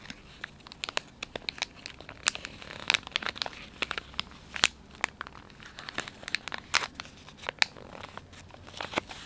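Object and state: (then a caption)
Plastic wet wipes pouch crinkled. Fingers pinch, fold and crinkle the soft plastic film of a filled, palm-sized Dettol wet wipes pouch. The result is a steady run of sharp, bright crackles and crinkles with almost no low end, each snap dying away instantly over a quiet background.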